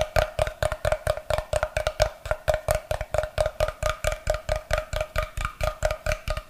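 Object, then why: Wooden block. Fingernails tap and scratch the face of a solid block of unfinished light wood held upright beside the microphone. About 34 quick, dry knocks with a hollow woody tone near 620 Hz come in a steady but uneven rhythm. Each dies away almost instantly, with faint scratchy texture between the taps.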